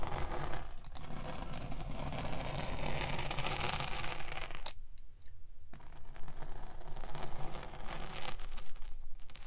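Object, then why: Kinetic sand slab with metal spiked roller. A metal spiked pinwheel tool is rolled across the surface of a solid rectangular slab of pink kinetic sand on a table, pricking and scraping rows of holes. It makes a steady, gritty scratching and crackling with a low rumble underneath, breaking briefly into a quieter pause about halfway before the scraping resumes.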